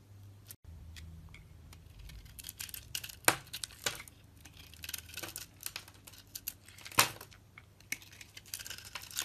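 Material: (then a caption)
Soap. A solid soap bar with a red dotted coating and a pale green core is held in hand and shaved with a large metal blade. Irregular, dry scraping and crisp shaving sounds follow, with sharp bright cuts standing out from a low, quiet background hum.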